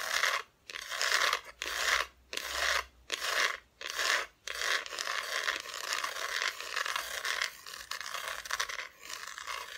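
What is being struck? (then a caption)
Flat wooden cutout decoration, bare back. Long fingernails scratch and tap on the bare, unfinished wooden back of a flat, solid Christmas decoration cutout held spread in front of the mic. Short bursts of dry, bright rasping are broken by brief pauses, then settle into steadier, slightly softer scratching with no ring after each stroke.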